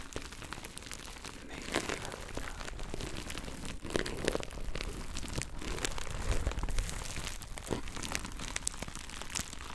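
A hand-sized pack of soft, colorful kitchen sponges, sealed in thin plastic film with a cardboard label, is held in both hands and scratched and squeezed with fingertips and nails right next to the microphone. The wrap gives a steady, dense crinkling and crackling with sharp, bright scratchy bursts over a low rumble, growing slightly louder toward the middle.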